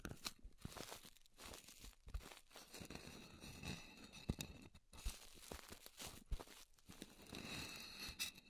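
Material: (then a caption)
Styrofoam. Long nails scratch and tap the edge and top of a thick, solid, round white styrofoam disk, first held on edge and then lying flat. The result is quiet, dry scratching with a crinkly, tearing texture, broken by short, sharp taps that die away almost instantly. Bright hiss rides over a low thud.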